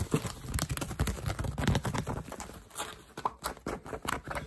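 Fingertips and nails tap and scratch the weave of a woven straw hat brim held close to the microphone. A fast, irregular run of dry, soft taps with a low, thumpy body mixes with brief rustling scratches, each stopping almost at once.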